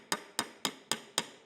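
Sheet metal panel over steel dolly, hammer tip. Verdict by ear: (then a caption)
On dolly. Five evenly spaced taps with the tip of a hammer on a steel body panel held against a steel dolly behind it, each a short, bright metallic ping. The ping shows the hammer is landing right over the dolly, as it should.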